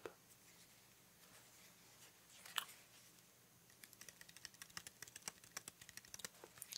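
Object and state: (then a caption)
Plastic headlamp. Fingertips tap and scratch the casing of a small black plastic headlamp, a solid housing with a lens, held in both hands close up. Soft scratching and one sharper knock come first, then a rapid run of crisp, bright plastic clicks with almost no ring.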